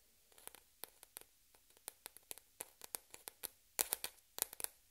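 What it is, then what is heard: Plastic ping pong ball. A single small hollow white plastic ping pong ball is held up between both hands and tapped and scratched by long red-painted fingernails, with other balls resting still on a black cloth table. About twenty quick, bright, dry clicks with almost no ring come in an irregular rhythm over a quiet background, getting louder and denser toward the end.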